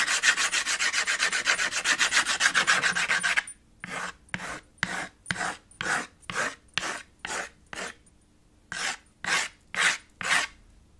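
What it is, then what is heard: Chalk scratching on a small chalkboard. White chalk held in the fingers rubs and scratches in dense cross-hatching over a small chalkboard slate with a red wooden frame. For the first three and a half seconds the strokes come fast and continuous as a bright, raspy scratching. Then they slow into separate, evenly spaced swipes with a short pause near the end.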